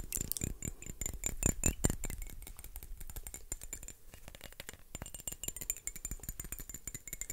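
A small dark glass perfume bottle with a cap, hollow and apparently filled with liquid, is held in both hands and tapped and scratched with fingertips and nails. Quick, irregular clicking taps come loudest in the first two seconds, then soften into lighter scratchy tapping with a brief lull near the middle. A faint, bright glassy ring hangs over the taps.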